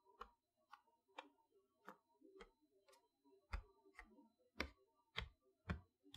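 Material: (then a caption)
Plastic, cardboard. Long nails tap in a ticking rhythm on the plastic window front of a boxed chalkboard set made of cardboard. Eleven short, dry taps come at an uneven pace of roughly one per second, each combining a low thump with a bright click and dying away almost at once. The overall level is quiet.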